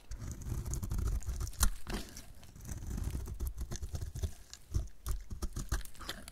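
A utility knife blade shaves and scrapes a solid, hand-sized bar of dried soap painted pink-red and held in the hand, peeling off brittle curls. The sound is a dry, crunchy crackling scrape in uneven bursts, with short sharp snaps along the way, the loudest near the middle.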